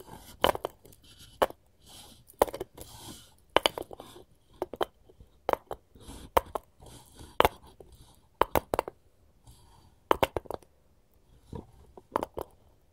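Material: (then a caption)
Wood. A wooden cutting board is tapped with gold rings worn on the fingers, giving short, dry, clicky taps with almost no ring, often in quick doubles and small clusters. Faint rubbing and scraping sounds fill the quiet gaps between the taps.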